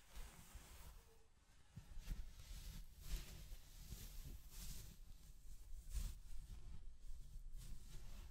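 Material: Nothing is struck.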